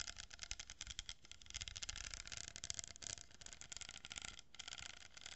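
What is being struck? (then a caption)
Cardboard tube with glued plastic beads. Long fingernails scratch along a hollow cardboard tube held horizontally and across a glued row of plastic pearl beads. A dense, bright, scratchy rustle is heard, broken by rapid little clicks and ticks as the nails pass over the beads, with a faint low rumble underneath throughout.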